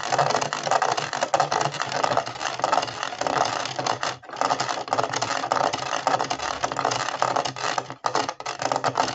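Fingertips and nails scratch along the horizontal ridges of the white sole of a hollow plastic jigsaw-puzzle Converse-style shoe, a Ravensburger 3D puzzle. The result is a dense, continuous rasping scratch with a papery, mid-range hiss and a faint bright edge. Brief pauses occur just after four seconds and again near eight seconds before the scratching resumes.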